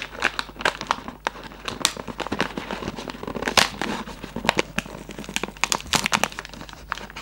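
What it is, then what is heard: Cardboard candy box being crinkled. A hollow Raffaello cardboard candy box with a plastic window is held close and squeezed and rubbed with fingertips. The result is dense, bright crinkling and crackling made of many short, sharp snaps with almost no ring, over a faint low hum.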